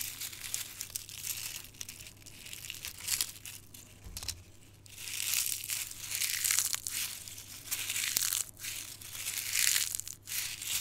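A small, brittle, dark red dried rose head is squeezed and crushed in a bare hand with the fingertips, sending petal fragments onto a green surface beside an untouched floral foam block. Dense, bright crackling and crinkling rises and falls in waves across the clip, with almost no low end and quick, dry snaps that die away at once.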